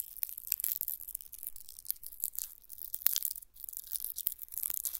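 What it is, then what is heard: Dry papery onion skin. A long fingernail scratches and crinkles the dry, papery outer skin of a whole brown onion held close to the microphone. Quiet, bright crackles and rustles come in rapid, uneven bursts with a few sharper snaps. Each sound stops almost at once, with no ring.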